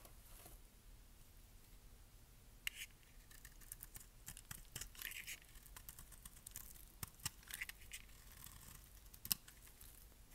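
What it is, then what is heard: Bar of dry soap being shaved. A metal blade shaves flakes off the edge of a palm-sized, dry, solid pink bar of soap with an embossed logo, held in hand. Quiet, crisp scraping and crackling carry bright, brittle ticks, with a few sharper snaps standing out over a faint low background rumble.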